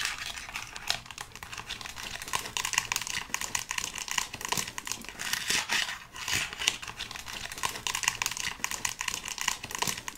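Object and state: Plastic skeleton hand prop.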